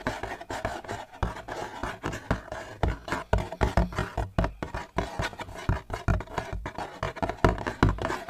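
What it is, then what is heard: Empty cardboard ice cream box. A hollow blue cardboard Gelato sandwich ice cream box is held in one hand and tapped and scratched with the fingers of the other. It makes a rapid, uneven run of dull, low, hollow taps with soft scratching between them. Each tap dies away almost instantly.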